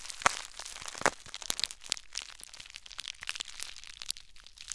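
Crumpled clear plastic bubble wrap is squeezed and rubbed with fingertips and short nails. It makes a dense, bright crinkling full of sharp, dry crackles and snaps, with a few louder pops near the start. Every click stops at once, with almost no low-end body.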